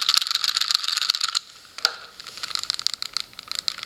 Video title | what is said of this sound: YJ MoYu 4x4 Cube review | like it's much more rattly